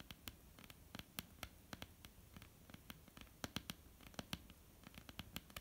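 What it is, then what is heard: Wooden tabletop. Long polished nails of both hands tap and scratch across a solid, flat, dark wooden tabletop. The result is a quiet, uneven run of short, sharp clicks with bright tops and almost no ring, over a soft, low scratching rustle.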